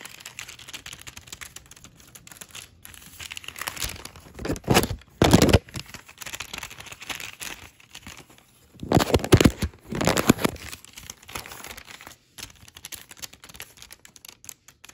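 Long red nails scratch a flat white paper shopping bag with a red logo lying on a wooden table, then a hand crinkles and folds it. Soft, dry scratching runs throughout, broken by two louder bursts of crisp paper crinkling near the middle and again later in the clip.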